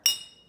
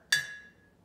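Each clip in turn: First: empty glass jar, high ring. Second: full glass jar of water.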